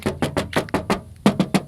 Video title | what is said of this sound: DIJUAL MURAH TOYOTA SOLUNA XLI BUKAN BEKAS TAXI MT (Review Soluna Xli Indonesia) | diketok masih suara kaleng-kaleng breng-brengnya itu masih nyaring